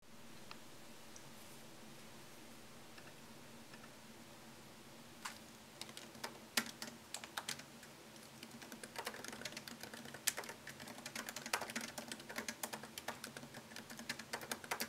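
Fingertips tap the low-profile plastic keys of a MacBook Pro keyboard set in a thin solid aluminum chassis. After about five seconds of quiet with a low steady hum, scattered short, sharp clicks begin. They build into quick, continuous typing with bright, crisp key taps that stop almost instantly.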